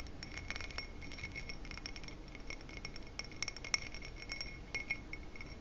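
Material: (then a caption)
Glass. Fingertips and nails tap the stem and bowl rim of a dark ribbed glass footed goblet, hollow and empty. Many quick, light clinks with a steady bright ring near 2 kHz and higher overtones patter irregularly over a low, soft rumble.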